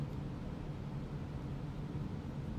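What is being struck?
Nothing is struck.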